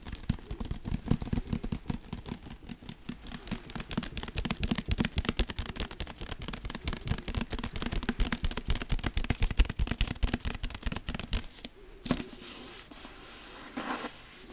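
Fingertips and nails scratch and tap the front cover of a dark hardcover book with a cardboard cover and gold embossed lettering. A fast, dense run of dull, low-heavy taps and scratches continues for about twelve seconds. It then gives way to a steadier, brighter, hissing scratch until the end.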